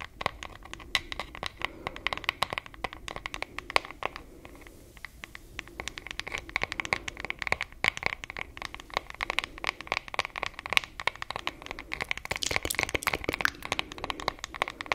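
Long acrylic nails tap and scratch the solid, printed wooden back of a wooden paddle hairbrush. The sound is a dense run of sharp, dry clicks and bright scratching with a crinkly edge and almost no ring, easing briefly around the fifth second before picking up again.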